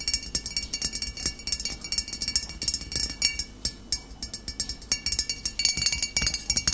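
Long nails tap rapidly on the glass shoulder of a full, upright glass bottle of cider vinegar. Each tap gives a bright, high clink that rings only briefly, in a quick, uneven run with almost no low end.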